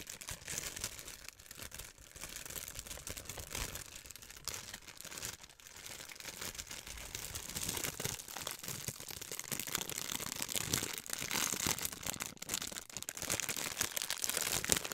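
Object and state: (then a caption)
Clear plastic film. A large, thin, clear plastic sheet is crumpled and crinkled by hand with long white nails, close to the microphone. It makes a dense, continuous stream of sharp, bright crackles with little low end, growing slightly louder over the fifteen seconds.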